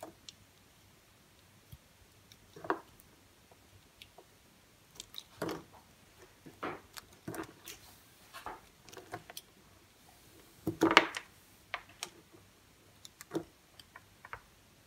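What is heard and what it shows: A knife blade carves slices from a solid, semi-dry green bar of soap held in the hand. Short, crisp scraping cuts and soft crunches come at irregular intervals over a quiet background, with one louder, brighter cut near the end.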